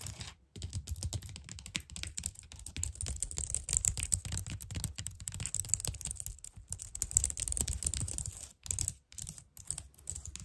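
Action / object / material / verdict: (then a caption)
tap / plastic computer keyboard / plastic / none. Long nails tap and click rapidly across the keys of a white plastic computer keyboard, with brief pauses between bursts. Each key gives a sharp, dry click with a bright high edge over a low thump, and the sound dies away almost instantly.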